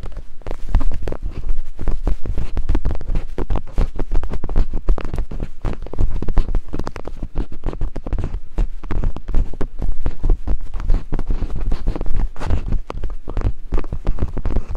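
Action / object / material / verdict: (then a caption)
tap / silicone microphone ears tapped with wooden picks / silicone / none. Two wooden picks rapidly tap and climb across the silicone ear-shaped capsules of a binaural microphone. The result is a fast, steady stream of deep, muffled thumps with almost no high end, blurring into a continuous throbbing rumble centered around 59 Hz.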